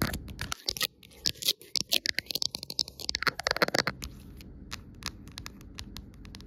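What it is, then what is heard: Clear plastic phone case. Long nails tap and scratch the back and rim of an empty amber-tinted clear plastic phone case lying on a woven rug. A rapid run of bright, sharp clicks and crunchy scrapes builds over the first four seconds, then settles into a quieter, steady scratching texture.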